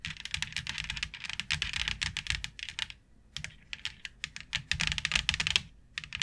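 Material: Plastic.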